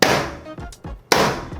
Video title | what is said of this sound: 이 특별한 창 하나로 수평 확인이 조금 더 쉽고 빨라집니다! | 굉장히 탄력이 있죠 우레탄 소재 같은데 탄력이 있으면서도 굉장히 강하다는 느낌을 보여주고 있어요